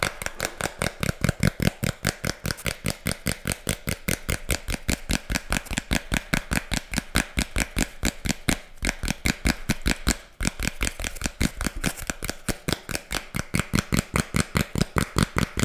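A thin, flat tan cardboard disc is held up and tapped and scratched with long fingernails. The result is a rapid, steady stream of short, dry taps, each with a dull low thump and a bright scratchy edge. There is a brief dip in the rhythm around the ten-second mark.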